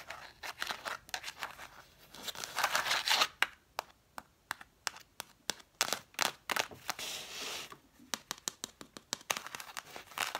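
Long dark nails tap and scratch on the spines of a stack of red cloth-covered vintage hardcover books. Quick, irregular, dry taps with almost no ring alternate with bright, raspy stretches of scratching along the cloth spines.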